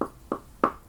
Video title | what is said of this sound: The Woodshop: What is made of wood? | it kind of has a different sound than the metal